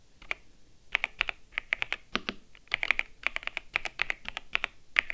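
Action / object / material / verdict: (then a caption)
tap / plastic mechanical keyboard / plastic / none. Fingertips with long nails type with both hands on a white and grey plastic mechanical keyboard with keycaps, resting on a desk. About 28 short, bright key-press clicks come in quick, uneven bursts, centered around 2 kHz with very little low end. Each click stops almost instantly.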